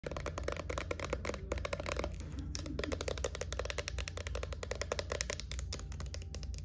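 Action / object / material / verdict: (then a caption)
tap / small plastic lotion bottle tapped with fingernails / plastic / none. A small, hollow white plastic Ultra Doux body-lotion bottle with a silver pump top is held in the hands and tapped and scratched with long nails. Rapid, sharp, dry clicks and scrapes run continuously over a steady low hum.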